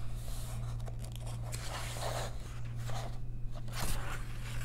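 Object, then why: Paper coloring book. Long nails trace across the text of an open paper coloring book and then turn a page, making soft, dry scratching and crinkling sounds with a brighter rustle near the end as the page flips. A steady low hum runs underneath throughout.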